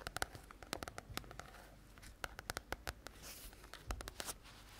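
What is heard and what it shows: A small, solid paperback book with a glossy red and white cover is held in both hands close to the microphone and tapped and scratched on the cover with long nails. Many sharp, dry clicks with a bright edge are heard, separated by short soft scratching passages, each tap dying away almost instantly.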